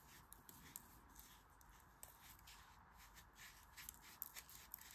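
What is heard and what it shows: A craft knife blade scrapes and cuts across packed, dense, moist grey kinetic sand filling a green plastic flower-shaped mold held in a palm with red-painted nails. The result is a quiet, steady, gritty scraping hiss, bright in tone, broken by scattered brief sharp ticks as the blade catches the sand.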